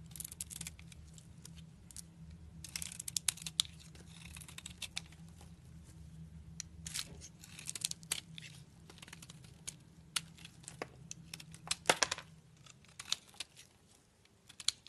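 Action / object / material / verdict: scrape / bar of soap / soap / none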